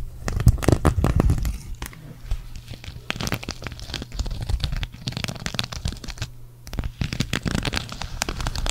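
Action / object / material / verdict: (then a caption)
scrape / sequin fabric patch / sequins, knit fabric / none. Long nails scratch a green sequin cactus patch, later turned over to scrape its knit fabric back. The result is a dense run of quick, crackly scratching and rustling with a low hum underneath and bright clicks throughout.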